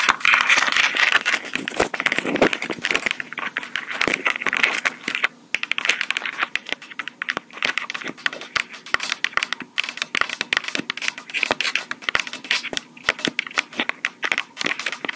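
Long pink acrylic nails tap quickly on the top and mic housings of a small black plastic Tascam portable recorder, a hollow handheld device, with some scratching mixed in. The result is a dense, rapid stream of dry, bright clicks and crinkly scratches with no low end. Each tap dies away almost instantly.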